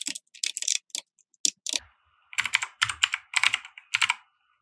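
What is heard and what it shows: Fingertips of both hands type on a compact 60% mechanical keyboard with white plastic keycaps and RGB lighting, resting on a felt desk mat. Bright, crisp plastic clicks come in quick bursts separated by short pauses, each keystroke dying away almost instantly with no low-end thump.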